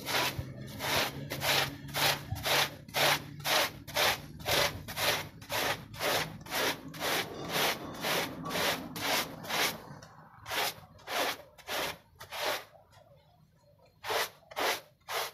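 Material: Textile.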